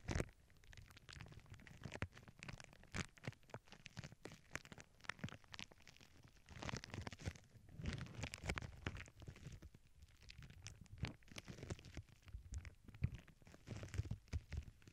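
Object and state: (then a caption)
Plastic bubble wrap scratched with nails. Long acrylic nails scratch across a flat sheet of clear plastic bubble wrap resting on a cork board, with earbud mics beneath it. The result is a steady stream of quiet, dry crackles, scrapes and soft taps with a muffled, low-heavy body, peppered with sharper bright clicks.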